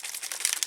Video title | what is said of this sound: tuto mix média oiseaux et nids | On commence par bien secouer. Vous écoutez la bille.